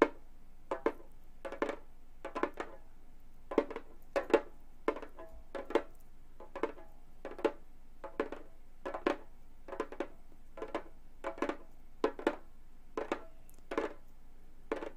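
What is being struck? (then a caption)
Frame drum with synthetic skin head. A hollow Remo frame drum with a synthetic skin head is tapped with gold metal claw nails on both hands. Quick, dry clicking taps with a mid-pitched hollow tone fall in loose, uneven clusters over a quiet background. Each tap dies away almost at once.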